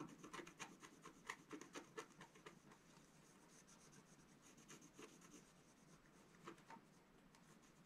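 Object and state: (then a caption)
Scratch art paper sheet. A wooden stylus scratches and rubs across a flat, black-coated scratch art paper sheet lying on a table, filling in shapes. Quiet, irregular rasping strokes with a bright, papery hiss come quickly in the first couple of seconds. They then settle into softer, steadier rubbing, with a few sharper strokes returning near the end.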